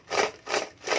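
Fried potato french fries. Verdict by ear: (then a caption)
Crispy. Homemade McDonald's-style fried potato french fries are rubbed and tapped together, making three dry, crunchy, wood-like rasping bursts concentrated in the mid and upper frequencies. The sound shows the fries are very crispy.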